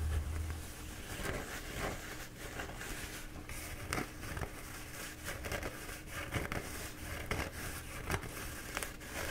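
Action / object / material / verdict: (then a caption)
scrape / squashed paper towel roll / paper / none. Fingertips slowly rub and scratch a squashed, bee-printed paper towel roll held in both hands. Soft papery crinkles and scratches rise and fall over a steady low hum, with brief brighter crackles now and then.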